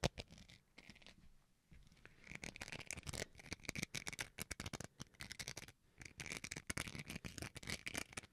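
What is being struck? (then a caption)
Plastic rice paddle spoon. A small, solid white plastic rice paddle spoon, held in one hand, is scratched with fingernails, first near the face and then close to the mic. Rapid, dry, bright scratching ticks come in dense bursts with brief pauses, growing louder and fuller as the spoon moves nearer.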